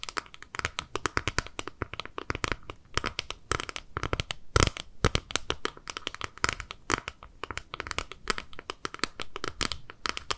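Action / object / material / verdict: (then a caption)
tap / small flat clear plastic compact / plastic / none. Long nails scratch and tap a small, flat, clear plastic eyeshadow palette held in both hands. The result is a steady run of quick, dry clicks and crinkly scratches with bright edges and almost no ring, plus a few sharper, louder taps.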